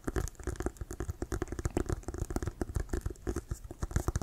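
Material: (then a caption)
Leather. Fingernails scratch and tap on a hollow, inflated Wilson brown leather American football held upright, working over the leather and the laces. A quick, uneven run of about twenty short, dull, low thumps comes through, each dying almost at once, mixed with soft scratchy patter.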